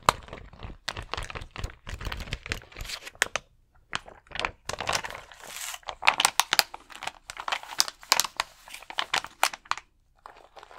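Fingertips scratch and rub the rows of small acrylic rhinestones on a large, thin plastic rhinestone sticker sheet held flat against the chest. Bursts of dry, bright crinkling and rapid clicky scratches come in dense flurries, with brief quiet pauses near 3.5 seconds and just past 10 seconds. The sound is crisp and close, with almost no low end and no ringing tail.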